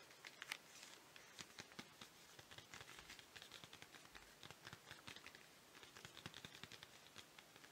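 Fingernails tap and scratch a flat, printed cardboard chocolate bar sleeve with the bar still inside, held in both hands. Quiet, bright, dry clicks and scratches come in a steady, irregular stream over soft crinkling, with almost no low end.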